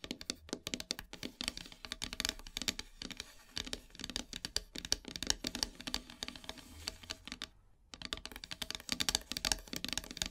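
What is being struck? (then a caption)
Painted wooden heart plaque. Long silver nails tap rapidly on a flat, solid, black-painted wooden heart plaque. The result is a dense stream of sharp, bright, dry clicks with almost no ring, pausing briefly near the end before the tapping resumes.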